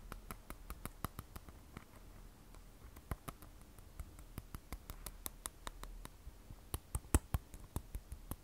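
An iPhone 12 Pro, a glass and stainless steel smartphone held flat and sideways, is tapped by long nails on its matte glass back and steel edge. The result is a quiet, irregular series of sharp, dry clicks with no ring, some louder than others, over a faint low hum.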